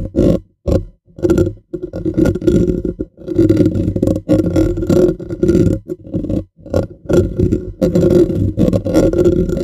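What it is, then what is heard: Metal mesh microphone grille. Fingernails of both hands rapidly scratch and tap a bare, hollow black metal mesh microphone grille. The result is bursts of close, dense, scratchy rattling with a hollow low-mid body around 316 Hz and short silent gaps between bursts.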